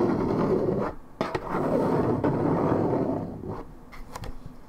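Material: Paperboard.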